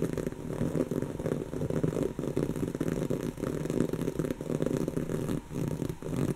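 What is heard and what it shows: Long natural fingernails of both hands scratch across a soft, stuffed, brown textured woven-fabric cushion. The result is a steady, dense rasping and crackling with a low, muffled body, pulsing slightly with each stroke and briefly dipping between passes.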